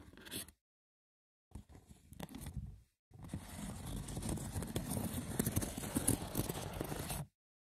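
Short nails scratch the top and edges of a small, hollow, rectangular woven wicker box with a lid. A brief scratch, a pause, then a stretch of uneven rasping lead into a dense, continuous rough scratching that ends abruptly.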